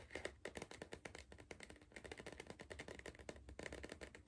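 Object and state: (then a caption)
Cardboard crisp tube. Fingertips rapidly tap the lower side of a tall, hollow green cardboard Pringles tube held at an angle. The quiet, dry, hollow taps die away almost instantly, with a papery click on top and a faint resonant body underneath.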